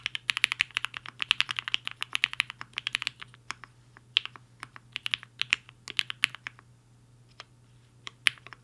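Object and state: Mechanical keyboard with plastic keycaps.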